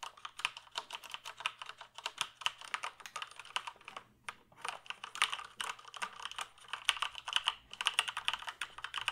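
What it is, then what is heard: Plastic computer keyboard. Fingertips type steadily on a full-size black plastic computer keyboard held up off any surface, producing a rapid stream of short, bright plastic key clicks that stop almost instantly. The typing pauses briefly around the middle before continuing at the same quick pace.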